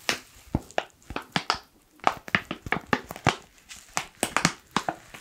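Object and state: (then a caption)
Foil coffee bag crinkling. A black foil coffee pouch is crinkled with fingertips, producing a rapid series of sharp, bright crackles and crinkles separated by brief quiet gaps. Each crackle snaps off quickly with almost no ring.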